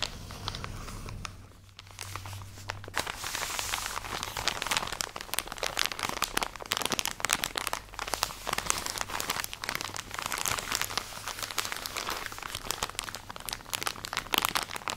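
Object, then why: Soft plastic package of cotton pads. A tall, soft plastic drawstring package full of round cotton pads is held in hand and scratched and squeezed with long nails. It gives off dense, bright crinkling and crackling with quick scratchy bursts, over a faint steady low hum, for the whole clip.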